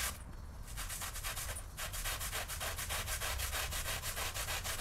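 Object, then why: Woven fabric rug scrubbed with a stiff brush. A pink-handled stiff-bristle floor brush scrubs back and forth across a small, flat, wet and soapy woven fabric rug with a pictorial pattern, lying on a plastic-sheeted floor. The result is a fast, steady run of bright, hissy bristle rasps with a low rumble beneath.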